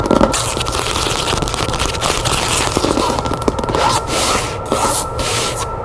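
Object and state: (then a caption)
Cloth-bound hardcover book. Long nails tap and scratch the cover of a red cloth hardcover book with a gilt-lettered spine, resting on a table. The result is a steady, dense, bright scratching texture broken by quick, sharp taps, with a few louder clicks along the way.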